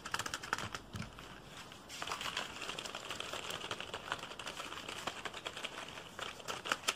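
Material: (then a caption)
Plastic. A black full-size plastic computer keyboard, held up, has its keys tapped quickly and hard with the fingertips. Sharp, bright plastic clicks come in rapid, uneven bursts with almost no ring. A dense clattering run fills the middle of the clip, and a few louder isolated taps come at the start and end.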